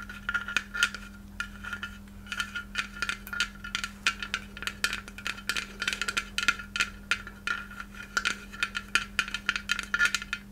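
A small white hollow glass Christmas ornament shaped like a takeout box is held close and tapped rapidly with long red nails. The result is a quick, uneven stream of sharp, bright clicks, each with a faint glassy ring near 1.4 kHz that dies away almost at once. A steady low hum sits underneath.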